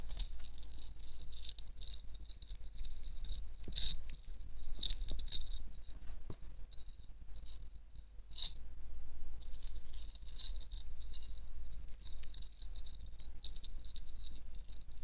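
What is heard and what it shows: A hand-sized, solid, bronze-coloured metal elephant pendant with rhinestones on a chain rests on an open palm and is gently shaken and moved so it rattles against the chain. Quick, bright metallic clicks and jingles repeat throughout, with short ringing around 3.8 kHz over a steady low hum.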